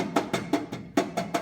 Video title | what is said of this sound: Sound Deadener | you can hear it's pretty thin and you can hear some reverberation come through